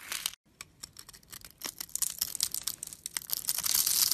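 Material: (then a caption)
Soap. A metal blade carves grid-cut cubes from the top of a solid, translucent, yellowish bar of soap held upright in the hand. It makes a run of crisp, bright crackling and scraping with dry ticks and almost no low end. After a brief silence near the start, the sound grows denser and louder toward a bright, hissing finish.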